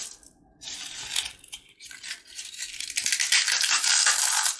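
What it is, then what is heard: Dry, crisp fried papad shell being crushed. A small, hollow, dry yellow fried papad cone is held in one hand and crushed by the fingertips into crispy fragments over a dark tray of snacks. Bright, dry crackling and crunching comes in uneven bursts after a brief quiet start, growing denser and louder toward the end.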